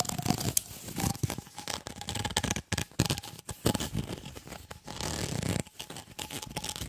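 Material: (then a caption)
Plastic. A white, ribbed, flexible plastic tube, about 20 cm long, hollow and empty, is held in both hands and scratched and flexed along its ridges with the fingertips. The result is a dense run of rapid, crackling, ratcheting scrapes that are bright on top with a full low body. The scrapes surge and pause in uneven bursts, with a faint steady tone near 750 Hz underneath.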